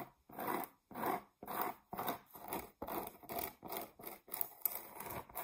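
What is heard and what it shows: Long nails scratch the face of a flat, solid, round cork board about 20 cm across, held in the hands. Quiet, dry, rasping strokes repeat in quick bursts about twice a second, each a short scrape with a crisp, bright hiss and little low end.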